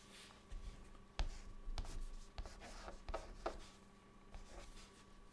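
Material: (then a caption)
Chalk. A white chalk stick held in the fingertips writes words on a flat, dark, solid chalkboard. Short scratchy strokes and sharp taps come in irregular bursts, with bright, gritty friction between them. A faint steady hum runs underneath.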